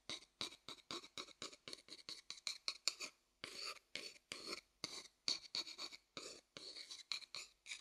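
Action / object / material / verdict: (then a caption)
tap / light wooden bowl / wood / none. A thin wooden stick taps the outer surface of a medium, hollow, light wooden bowl held upside down close by, producing about 30 quick, dry, bright clicks with almost no ring. A few strokes stretch into short scratchy rubs, and there is no low rumble at all.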